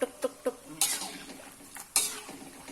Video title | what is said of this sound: (174)KULIT AYAM CRISPY GURIH KRIUK RENYAH Resep Standar Bikin Siapa Saja Bisa Masak yang Enak | sudah kering ya tandanya kalau kita pukul-pukul seperti ini ada bunyinya tuk tuk tuk tuk tuk tuk